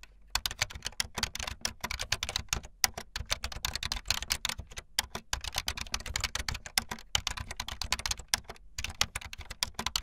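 Fast typing on a full-size backlit plastic Bluetooth membrane keyboard with white and blue plastic keycaps and a hollow plastic body, the keys pressed with fingertips and the tips of long painted nails. A rapid, uneven stream of short, bright plastic clicks and clacks with soft low thuds underneath, broken by a few brief pauses.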